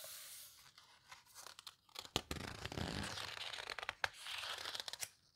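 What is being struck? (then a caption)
Large book with heavy paper pages. Hands turn and squeeze the heavy paper pages of a large open photo book about paper houseboats, working near the edge with fingertips and long nails. Bright, dry rustling and crinkling rise and fall, broken by sharp papery snaps and a longer sweeping crackle in the middle.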